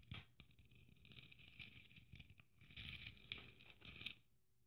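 Long nails tap and scratch across a red sequin-covered Christmas ornament trimmed with gold braid. The result is a quiet, continuous patter of quick clicks and scratchy rustling, with a bright high-pitched sparkle over soft low thumps.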